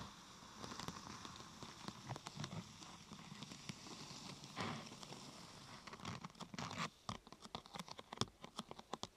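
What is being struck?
Thin plastic sheet curved into a half-tube.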